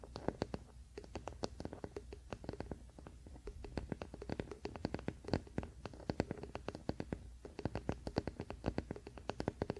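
A large wooden paddle hairbrush lies flat, bristles down, on a fleece blanket while the flat, solid wooden back is scratched and rubbed with the fingertips and short nails of both hands. The result is a steady, dense run of quick, dry scratches and light taps with no ring, mostly low and woody in tone with crisp, bright edges on each stroke.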